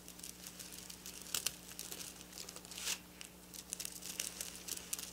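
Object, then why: Sequin fabric scratched with fingernails. Long black nails scratch and rub over silver sequin fabric lying on a table. The result is a dense, bright, crinkly rustling with sharp little clicks and brief louder swipes, over a faint steady low hum.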